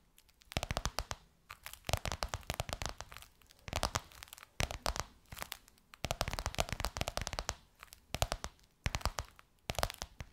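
Long nails of both hands tap and scratch across the gold crocodile-embossed faux leather surface of a flat box or book. Bursts of rapid, crisp clicking and scratchy rustling come in clusters, separated by brief quiet gaps.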